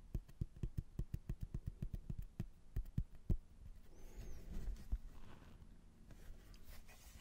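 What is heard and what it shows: Fingernails tap and scratch a rigid, flat laminated hardboard placemat, a solid thin board with a blue border and a printed castle photo, held in both hands. A quick run of sharp, separate taps gives dull, low, short thuds with almost no ring. Then comes a softer, continuous scratching rustle with a few scattered taps.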